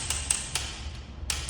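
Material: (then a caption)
Ceramic. A properly seated, well-bonded ceramic skirting tile is tapped for comparison with a hollow one. Five short, sharp taps with very brief ring and bright high-frequency clicks sound solid, over a low background rumble. The tile is sound and firmly bonded.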